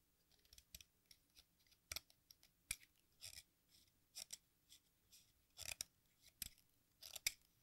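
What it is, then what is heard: Sidewalk chalk being shaved with a knife. An exacto knife shaves the red face and edge of a solid, watermelon-slice-shaped piece of sidewalk chalk over a pink bowl. About fifteen short, dry, bright scraping strokes come at an uneven pace, each one crisp and fading almost instantly, with quiet gaps between them.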